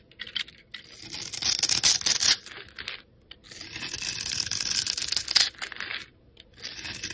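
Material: Soap.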